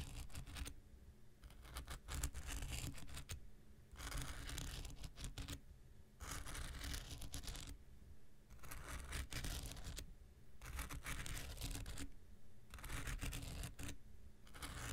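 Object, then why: Foam nail buffer block scraped with a knife blade. A handheld pink rectangular nail buffer block, made of solid foam with an abrasive surface, is scratched with an x-acto knife blade. Bursts of dry, bright scraping alternate with quieter pauses over a steady low rumble.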